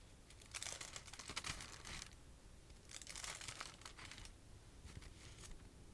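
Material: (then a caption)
Paper. A stack of thin red paper napkins held in the hands is flipped and rustled by fingertips with long nails and shaken. Soft, bright crinkling comes in bursts, with quiet gaps between them and a faint low rumble underneath.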